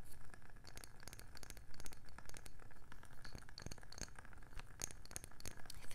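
A round, palm-sized wooden candle lid, turned over to show its dark underside, is tapped with long nails and fingertips. The result is a rapid, uneven stream of short, dry taps and clicks with a soft low thud beneath them, and some sharper, brighter nail clicks standing out.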